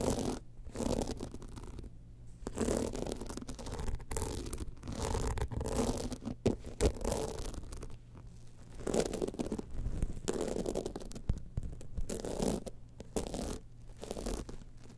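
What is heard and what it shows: Long nails scratch across the crystal-studded surface of a small, hollow, gold rhinestone-studded evening clutch bag held in the hand. The result is quiet, continuous bursts of gritty, rumbling scratching that is dominated by low tones and has little high-end brightness.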